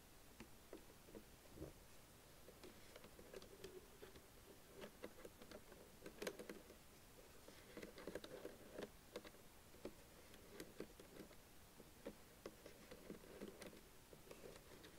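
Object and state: Plastic keyboard.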